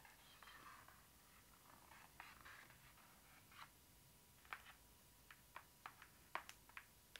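Long acrylic nails scratch and tap across the glossy printed cardboard front cover of a large hardcover book lying flat, with embossed gold lettering. Soft, dry scratching fills the first half, then about ten short, crisp taps follow at an uneven pace. The sound is quiet and close, with a faint steady tone near 1 kHz underneath.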